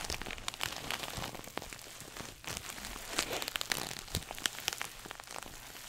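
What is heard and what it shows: A small red glossy coated-nylon shoulder pouch bag, held up in front of a face, is scratched and squeezed with fingernails. It gives a steady, bright crinkling and scratching with many quick, dry ticks and crackles over a faint rustle.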